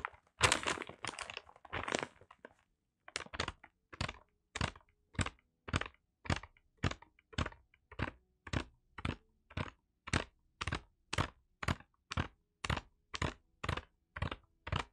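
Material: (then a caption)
Kraft paper. A brown kraft paper wrapped parcel is held and pressed while fingertips scratch and rub across its paper surface. Dense bursts of crinkly scratching in the first couple of seconds give way to a steady run of short, crisp, bright scraping strokes. The strokes come at a fairly even pace, each with a dry papery crunch and almost no ring.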